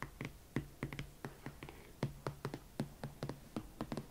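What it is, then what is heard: Leather platform boot tapped with nails. Long nails tap and scratch the side of a single empty, hollow hot pink leather Valentino Club Platform Chelsea ankle boot, on both the leather upper and the platform sole's edge. About twenty quiet, short, dull knocks come at an uneven pace, each with a low hollow tone and a brief bright click that dies away at once. Faint scratchy rustles fill the gaps between them.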